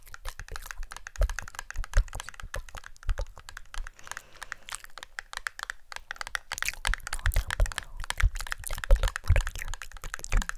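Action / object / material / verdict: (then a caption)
tap / small printed cardboard box / cardboard / none. A small, hollow, rectangular red and white printed cardboard cosmetic box is held in one hand and tapped with long nails. The result is a fast, dense run of short, dry clicks and taps with a hollow, low thump beneath them. A faint crinkling texture is also heard.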